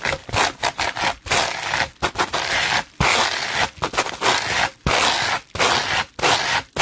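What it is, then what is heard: Plastic bubble wrap being brushed. A red-bristled hairbrush is dragged fast and aggressively across a sheet of clear plastic bubble wrap. The result is a rapid series of harsh, bright scraping and crackling bursts separated by brief pauses, with little low end.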